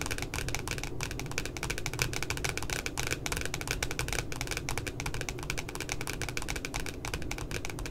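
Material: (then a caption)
Cardboard. Long glitter nails tap rapidly near the top of a pink spiral notebook's glossy cardboard cover, making a dense run of crisp, bright clicks. The clicks sit over a steady low rumble and keep an even level throughout.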